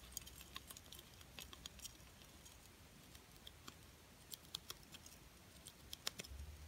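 A small, solid plastic butterfly ornament coated in silver and gold glitter is held in the hand and tapped and scratched with long painted nails. Quick, dry, bright clicks and light scratchy rasps come in scattered bursts over a quiet low hum. Each tap dies away almost instantly.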